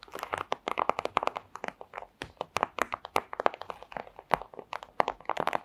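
A thin transparent plastic pouch is tapped rapidly with the tips of long acrylic nails. Around 35 quick, dry, crinkly clicks follow one another with almost no ring, centered in the midrange with a little bright crackle.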